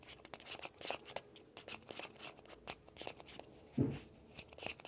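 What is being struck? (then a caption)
Plastic ball. Fingertips and nails scratch the shell of a small hollow orange plastic ball with a yellow stripe, held on a blanket. Quiet, dry, bright scratching and ticking come in quick irregular bursts, with one louder, lower-toned rub near the end.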